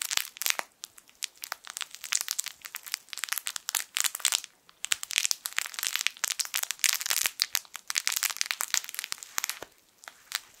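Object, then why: Plush fabric toy with crinkle film inside. A hand-sized, yellow, sun-shaped plush fabric crinkle toy with crinkle film inside is squeezed and rubbed with the fingertips of both hands. It makes dense, bright crinkling and crackling bursts with brief pauses. The sound is almost entirely high-pitched with no low end.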